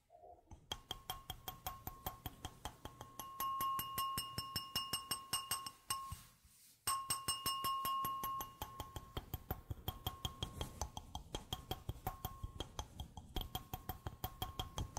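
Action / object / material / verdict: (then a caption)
tap / glass wine glass / glass / none. An empty, clear glass wine glass, held upside down above a microphone, is tapped rapidly with long nails. The taps give bright, clinking rings with a steady tone near 1.1 kHz and high overtones. The tapping pauses briefly around the middle, then continues.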